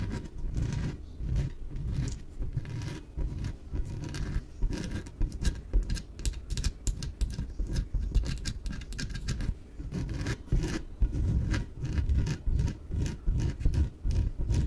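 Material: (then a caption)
PVC. Long nails rapidly tap and scratch on a small, yellow, hollow, air-filled inflatable PVC exercise ball. This makes a dense, continuous patter of soft, hollow, low thuds with only faint scratchy texture on top. Each tap dies away almost at once.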